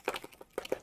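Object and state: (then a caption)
Paint bottle with ball bearings rattling inside. An older plastic bottle of multi-surface black acrylic paint is shaken, rattling the two 1/4-inch metal ball bearings inside that help mix the cheap paint, which tends to clump. Six short, bright clicks sound in two bursts with a brief gap between them.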